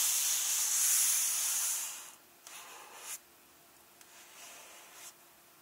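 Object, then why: Paper pages of an open hardcover book. Flat hands and fingertips rub slowly across the glossy illustration and text pages of an open hardcover book. A loud, bright papery hiss fills the first two seconds, then fades into two softer rubbing sweeps, each ending in a short scuff.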